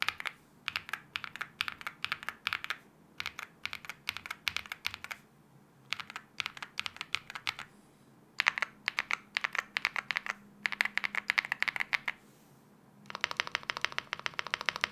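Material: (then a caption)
Aluminium, plastic. A 75% mechanical keyboard with an aluminium case and wine red plastic keycaps is pressed and tapped across the board with one hand's fingertips. Bursts of short, crisp clacks come in quick runs separated by brief pauses. The final stretch becomes a dense, brighter flurry of rapid taps.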